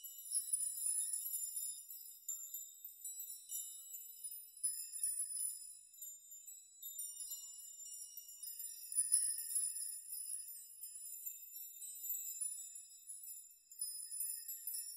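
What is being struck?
Hanging metal nails.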